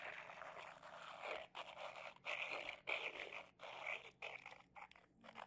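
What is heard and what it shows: A small white glossy glazed ceramic figurine with two rounded bulbous sections, likely hollow, is held between both hands and rubbed and scratched with fingertips and medium-length manicured nails. The result is a series of dry, bright rasping scrapes with a squeaky edge around 2 kHz, broken by short silent pauses between strokes.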